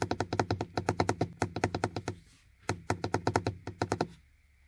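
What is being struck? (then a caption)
Molded plastic car door armrest with window switch panel. Fingertips and nails tap repeatedly on the hard, dark, hollow molded plastic window-switch panel of a car door armrest. There are 29 quick, dull, hollow taps with a low thunky body, played in two rapid bursts separated by a short pause. Each tap stops almost instantly with no ring.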